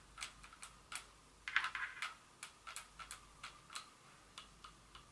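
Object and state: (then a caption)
Glass perfume bottle tapped with fingernails. Long fingernails rapidly tap a small Dior glass perfume bottle with a metal collar and cap area. Around eighteen quick, bright, glassy clicks ring briefly near 1.5 kHz, with a denser flurry of taps in the middle. The sound is quiet and thin, with almost no low end.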